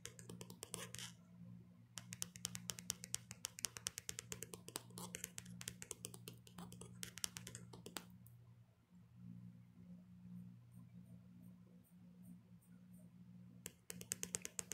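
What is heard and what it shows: Long painted nails tap and click rapidly on the back of a handheld smartphone in a black plastic hard case, with the phone itself recording. Dense bursts of sharp, bright clicks come in clusters, pause for a quieter stretch, then resume at the end. A steady low hum runs underneath throughout.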